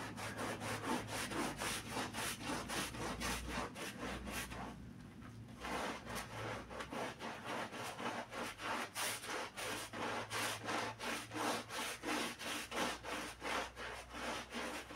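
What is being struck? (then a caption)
Pile carpet scrubbed with a bristle brush. A gloved hand scrubs a wet, soap-covered black-and-red pile rug with a handheld bristle brush. Quick, steady back-and-forth strokes make rhythmic, bright, broadband scratchy swishes, with a brief pause around the fifth second before the scrubbing resumes.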